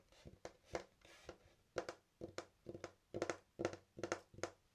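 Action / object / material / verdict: tap / wooden skateboard deck / wood / none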